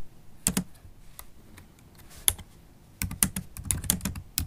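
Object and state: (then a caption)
Laptop keyboard with plastic keys. Typing on a MacBook Pro keyboard, whose black plastic keys sit in an aluminum laptop body, tapped with long pointed acrylic nails and fingertips. Sharp, bright clicks with a low thud underneath come in scattered bursts, sparse at first, then quicker and denser toward the end.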